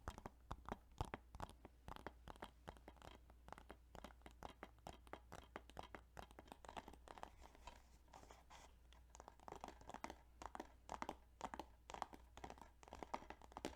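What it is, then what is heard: Plastic game case. Fingers tap rapidly and continuously on the plastic game case of Yu-Gi-Oh! Duelist of the Roses, making a dense stream of sharp, dry clicks with a mid-range knock around 800 Hz. A steady low hum runs underneath throughout.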